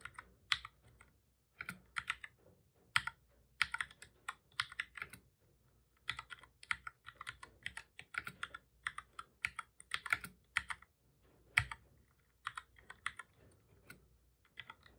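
Fingertips of both hands touch-type on a black full-size plastic computer keyboard, pressing the keys over and over. The result is bursts of short, bright, crisp key clicks that die away almost instantly, separated by brief pauses, with very little low end.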